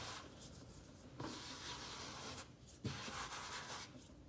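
Fingertips and short nails quickly scratch and tap across a large, solid, worn wooden tabletop scattered with soil crumbs. The result is a steady, dry rubbing hiss, broken by two sharper knocks on the wood.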